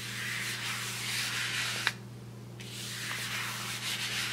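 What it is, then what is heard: Brush swept across a kraft paper bag. A wide paintbrush is swept across the surface of a large, flat brown kraft paper bag with paper handles, rubbing the paper. The result is a bright, hissy brushing sound with a faint steady low hum underneath. Midway, a short sharp tick is followed by a brief quieter pause before the brushing resumes.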